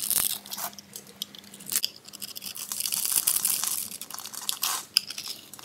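A solid, palm-sized pink soap bar is held in the hand while a metal blade scrapes and cuts through its gridded surface. Dense, bright crunching and crackling scrapes come in quick bursts, with no low end. Crunchy pink cubes crumble off.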